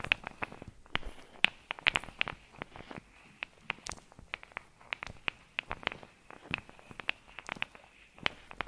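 Long nails tap and scratch over a blue soft rubber or silicone face-massage glove studded with small metal balls, worn on one hand and held close to a fluffy microphone. A steady run of quick, dry, bright clicks with a faint metallic ring near 2.5 kHz, each dying away almost instantly, over a soft scratchy rustle.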